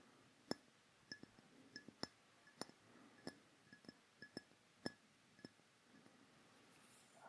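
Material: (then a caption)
Glass. A dark rectangular glass perfume bottle with a metal cap, hollow and held in both hands close to the microphone, is tapped with fingertips and nails. About a dozen quiet, separate clinks and clicks sound at an uneven pace, each with a bright glassy ping that dies away almost at once. A soft hiss fills the gaps between taps.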